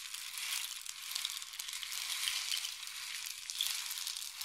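A long, hollow painted wooden rain stick is tilted in both hands so the filling pours down inside it. It makes a steady, bright, rushing patter of tiny grains with almost no low end, swelling gently and easing off as the fill runs through.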